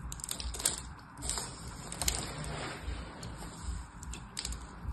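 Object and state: Bar of soap being scored with a blade.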